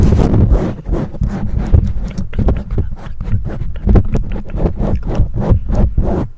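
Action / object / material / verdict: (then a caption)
scrape / foam windscreen on a microphone / foam / none. Long nails and fingertips of both hands scratch and rub the black foam windscreen on a condenser microphone. The result is a continuous stream of deep, boomy, muffled rubbing and scraping bursts, with almost no high end.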